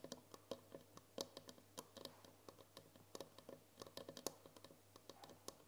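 Long nails tap rapidly on the wall of a tall glass jar with a green lid, full of foil wrappers, producing about 26 quick, dry clicks with a faint glassy ring near 540 Hz and bright high ticks. Each tap dies away almost instantly over a low, steady background hum.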